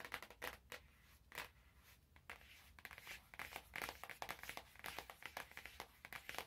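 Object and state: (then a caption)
Cellophane-wrapped cardboard box. Fingers crinkle and tap the clear cellophane wrap on an orange cardboard box held close. A steady run of quick, bright crackles and light taps comes in uneven bursts, each dying away almost instantly, with little low-end weight.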